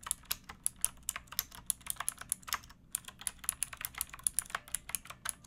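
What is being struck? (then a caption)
Mechanical keyboard with plastic keycaps. Fingertips with long nails type steadily on a pink backlit mechanical keyboard with plastic keycaps, set on a wooden block. About thirty-three quick, bright clicks and clacks come in an uneven rhythm, each dying away almost instantly, with very little low end.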